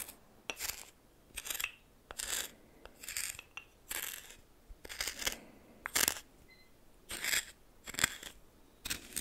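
A red plastic spoon scrapes and stirs through dry coarse white salt in a small greenish metal bowl. Repeated short bursts of bright, gritty crunching and rasping are separated by brief quiet pauses. Faint metallic ticks sound where the grains and spoon touch the bowl.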